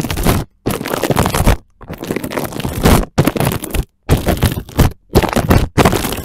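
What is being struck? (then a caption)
Plastic cling film stretched over a microphone. Fingertips and short nails of both hands scratch and rub thin, clear, dry, clean plastic cling wrap stretched over a small microphone on a wooden floor. The result is seven bursts of dense crinkling, scraping noise with a heavy low-end rumble, separated by brief silences.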